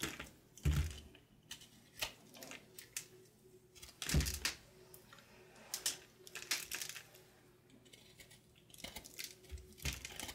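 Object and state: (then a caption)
Dried bar soap, crumbly. A small patterned knife shaves and cuts flakes off a hand-sized, solid chunk of crumbly, dried, marbled bar soap held in the hand, the flakes falling onto a pile of soap crumbs. Irregular crisp, bright scrapes and crunchy snaps sound over a low, dull rumble, with the strongest, thicker cuts standing out near the start and middle.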